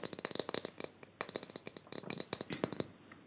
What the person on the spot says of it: Really nice hollow tapping, hollow glass sounds. I can't tap too hard because I don't want to shatter it.